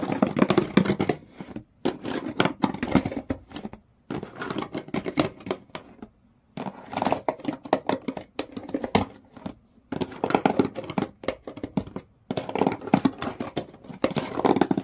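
Long nails scratch along the inner side walls and corrugated-textured brown cardboard floor of an empty open shoe box. The scratching comes in dense, dry, raspy bursts separated by brief silences, with most of its energy in the low-mid range and little brightness.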